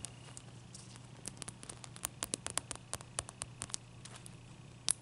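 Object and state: Ice cube.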